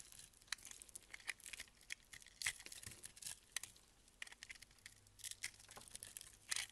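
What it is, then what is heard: Crystal-coated soap block. A box-cutter blade scrapes the crunchy yellow-pink soap-crystal coating off a solid egg-shaped soap block held in the hand. It makes a quiet run of crisp, bright crunches and crackles with short sharp scrapes that stop dead, with almost no low end.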